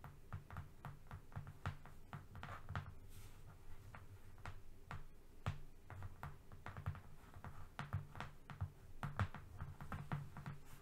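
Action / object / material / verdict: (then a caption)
tap / cardboard sheet / cardboard / none. Fingernails of both hands tap quickly across a flat brown cardboard strip, like typing. The result is a rapid, irregular stream of soft, dry clicks over a low, papery thud, each tap dying away almost instantly at a quiet, steady level.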